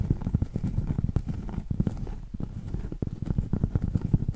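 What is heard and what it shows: Long acrylic nails tap and scratch the edge and top surface of a round solid cork board. Rapid, dull, low thuds with short scratchy strokes run throughout, with almost no bright content and no ring after each tap.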